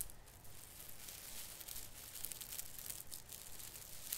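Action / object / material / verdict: scrape / artificial fir branches with plastic needles / plastic / none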